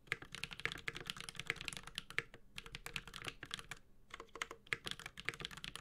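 A Space65 Cybervoyager 65% mechanical keyboard with a white-gold metal case, Holy Panda switches and ABS plastic keycaps, typed on with the fingertips of both hands. Bright, rapid clicky-clacky keystrokes come in quick bursts with a few short pauses. Each keystroke stops almost instantly.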